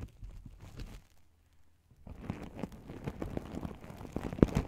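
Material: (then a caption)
Plastic sequins. Fingertips and long nails rub and flip the silver and gold sequins on a small, open, empty fabric pouch held in front of the mic. Soft, scratchy rustling fades to near silence for about a second. It then returns as denser, louder crinkling clicks, with one sharper snap near the end.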